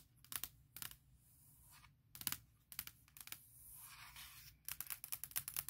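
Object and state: Aluminum laptop lid, named.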